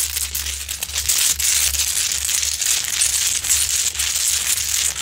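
Long pointed nails claw and scratch the crystalline surface of a large, glowing, solid rock-salt Himalayan salt lamp. The result is a steady, dense, bright scraping and crackling, concentrated almost entirely in the high range, with a faint low hum underneath.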